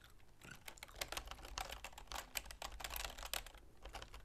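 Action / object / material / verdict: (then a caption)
tap / plastic computer keyboard / plastic / none. Long nails and fingertips type continuously on a full-size black plastic keyboard with a silver plastic frame. Quick, dry, bright clicks and taps patter unevenly over a soft low rumble, each one dying away almost at once.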